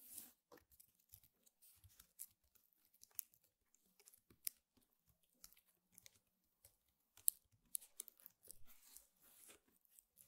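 Both hands scratch and tap across the coiled weave of a flat, square woven rattan table mat lying on a table, using long painted fingernails. The result is a quiet series of dry, crisp scratches and short clicking taps with bright, crackly texture and no ring.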